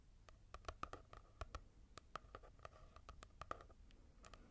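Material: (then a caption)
Paper. Long nails tap and scratch across the matte cover of a paperback manga volume, a solid block of paper. Quick, dry clicks with a light ringing tone sit over a soft scratchy texture. Roughly twenty separate taps are heard.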